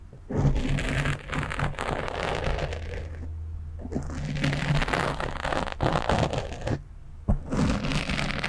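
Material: Foam.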